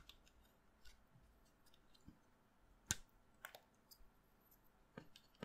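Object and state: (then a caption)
Chalk stick being carved. A solid pastel green chalk stick, held in the fingers over a pile of chalk dust, is carved and scraped with a utility knife blade. Quiet, sparse, dry scrapes and sharp bright clicks stand out against a soft hiss, with one crisp snap near the middle louder than the rest. Each sound dies away almost instantly.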